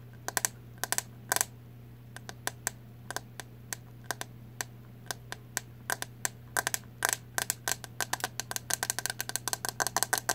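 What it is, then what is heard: Plastic hairbrush tapped with nails. Long nails tap and scratch across the hollow plastic back of a green plastic paddle hairbrush with bristles, held horizontally. The result is dozens of quick, sharp, bright clicks in uneven bursts that speed up toward the end, each dying away almost at once over a steady low hum.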